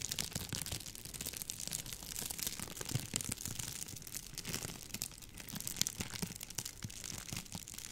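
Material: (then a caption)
Plastic. A hollow, light rolled tube of clear plastic bubble wrap is held in front of the microphone while fingertips with long painted nails twist, squeeze and crinkle it. The result is a steady, quiet stream of dense, bright crinkling and sharp little crackles, with soft low rustling underneath, lasting the whole eight seconds.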